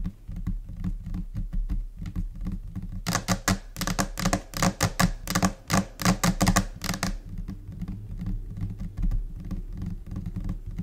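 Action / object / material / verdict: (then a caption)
tap / laminated particleboard desk top / laminate / none. Long nails and fingertips of both hands tap across a large, solid, flat white laminate desk top, possibly laminated particleboard. Soft, low thumps from the finger pads run throughout in a scattered, uneven rhythm. From about 3 to 7 seconds, sharp, bright nail clicks cluster in a busier burst, then the tapping eases back to muffled pattering.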